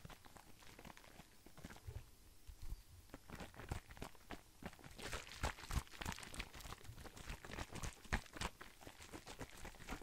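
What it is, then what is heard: Plastic cosmetic bottle. Fingertips tap and handle a hollow, hand-sized blue plastic skincare bottle, turning it to bring the cap end close to the microphone. Quick, irregular, dry taps and clicks mix with soft crinkly handling noise, giving a low hollow thump with occasional bright ticks. The taps are quiet, die away almost instantly, and grow a little busier and louder in the second half.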